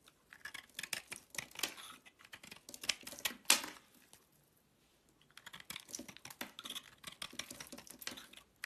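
A box-cutter blade carves strips off the corner of a solid green bar of soap held in the hand. The result is a dense run of quick, bright scraping and crackling clicks, followed by a short near-silent pause around the four-to-five-second mark. The same crisp carving sounds then resume in lighter bursts.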